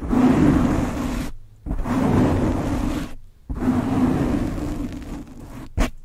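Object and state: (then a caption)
Foam microphone windscreen being scratched. Hands with painted blue nails scratch and rub the black foam windscreen fitted over a Blue Yeti microphone, which is soft and hollow over the capsule. The result is three long bursts of dense, rumbling scratching with a low hum near 200–300 Hz, separated by brief silences, then a short final brush.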